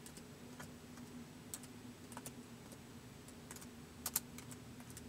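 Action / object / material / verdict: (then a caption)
tap / plastic laptop keyboard / plastic / none. Fingertips of both hands slowly type on the white plastic keys of a laptop keyboard, producing sparse, short, bright clicks. A steady low hum runs underneath, and two sharper taps stand out near the end.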